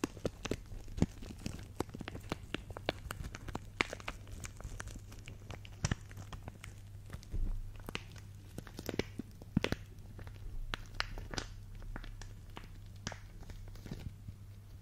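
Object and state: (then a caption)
Plastic bag of acrylic gems. A small clear plastic bag full of pink faceted acrylic gems is held above the microphone and pinched, squeezed and crinkled between fingers with long dark nails. Dozens of sharp, bright crinkles and clicks sound over a steady low hum, with a brief louder rustle about halfway through.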